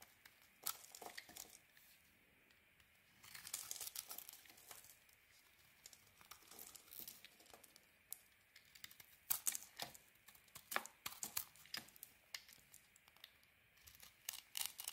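A solid white oval bar of soap is held in the hand and shaved with a metal blade. Quiet, dry, crinkly scraping comes in bursts of short, bright strokes, with denser stretches near the start, middle and end and little low end. Each stroke stops almost at once with no ring.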